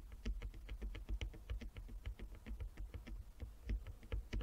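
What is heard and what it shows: A flat wooden chess board with inlaid squares is tapped rapidly with the long nails of both hands. The result is a quick, uneven patter of short, dry clicks with bright tips, each dying away almost at once over a steady low rumble.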